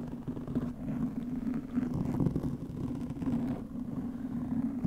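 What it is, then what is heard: Foam microphone windscreen being scratched. Long pink nails scratch the top of a black, soft porous foam microphone windscreen with clawed fingers. The result is a steady, muffled, low rumbling rustle with a droning hum around 200 Hz and almost no high or bright content.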